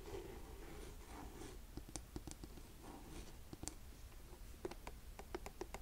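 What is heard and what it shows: Fingernails scratch the shaft of a black suede buckle ankle boot held upright, then tap its heel. Soft, quiet brushing scrapes in the first half give way to sharp, short, bright taps with almost no ring, scattered through the second half.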